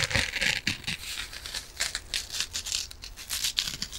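A small rectangular kitchen sponge, with a yellow soft, porous foam body and a green abrasive scouring layer, is held in both hands and scratched and squeezed with long nails close to the mic. The result is a dense, bright, crackly scratching and crinkling that comes in rapid bursts, with very little low end.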